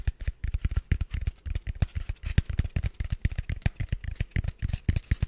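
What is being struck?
Styrofoam block.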